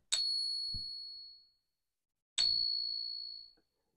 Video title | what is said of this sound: The most Faked Morgan & GAW E74 | the real sound of silver